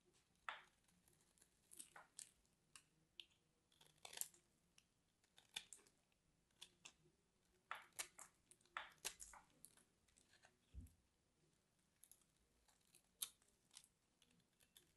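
A metal craft knife carves into the surface of a hand-sized orange and white striped bar of dry soap held in one hand, flaking off small cubes. The clip is a quiet run of sharp, crunchy, bright cuts with little low end and no ring, scattered irregularly throughout.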